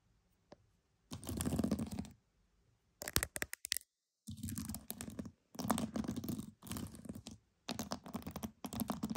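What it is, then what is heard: Pearls. Pearls are tapped and scratched in close, separate bursts. The sound is a dry, crackly scratching with a low, rumbly body and bright edges. A brief run of sharper taps comes between the longer scratching passages.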